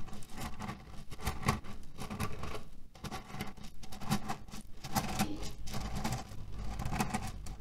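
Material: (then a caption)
Cherry stones. Fingernails scratch and tap quickly across a cotton fabric pillow filled with cherry stones. The result is a dense, continuous patter of rattling pits and rustling cloth, heavy in low rumble with bright, clicky streaks and short bursts of louder scratching.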